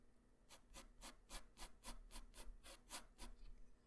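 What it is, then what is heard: Pencil strokes on a paper drawing sheet. A graphite pencil tip draws strokes across a flat white paper sheet, making eleven quick, rhythmic scratches. Each stroke is a short, bright, rasping sweep over a faint low hum, and the strokes fade quickly with no ringing.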